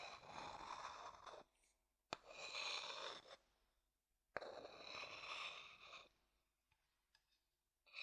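A dark-brown hollow wooden bowl is held upside down while a wooden stick taps and scrapes its outer bottom. Long, bright, hissy scraping strokes alternate with sharp, dry taps, each stopping dead with no ring. A few faint ticks follow before the scraping starts again at the end.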